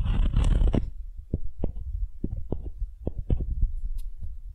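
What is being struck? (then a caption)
Wooden ball and wooden spoon. A solid, light wooden ball held in the hand is rubbed and scraped with the bowl of a wooden spoon. A dense, rasping scrape comes first, then a loose run of short, dull, low wooden knocks and scratches that die away almost instantly.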